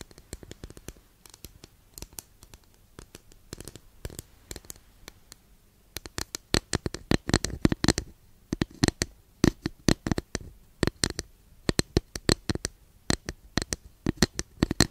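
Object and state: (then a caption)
Wooden incense holder scratched with nails. Long nails scratch and tap across the surface of a long, flat, thin solid wooden incense holder, making dozens of short, dry, crackling scrapes with bright edges. The strokes are soft and sparse for the first six seconds, then become louder and denser until the end.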